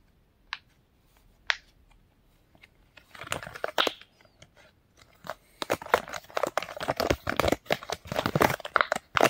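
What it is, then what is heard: Silicone pop-it fidget toy. A pink and blue silicone pop-it fidget toy is pressed with fingertips and nails and bent between the hands. Two sharp, separate pops come first, then soft crinkly rustling, then a dense, quickening run of bright pops and squeaky crinkles that builds in loudness toward the end.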